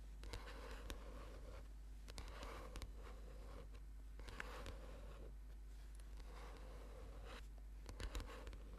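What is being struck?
Paperback book cover.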